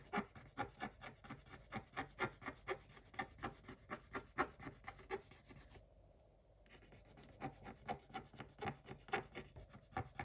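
A wooden stick scrapes along the lower edge of a design on a black-coated scratch-art page in a spiral notebook. It makes 32 quick, dry, raspy scratching strokes at a steady back-and-forth pace, about two per second. The strokes pause briefly for under a second near the six-second mark, then resume.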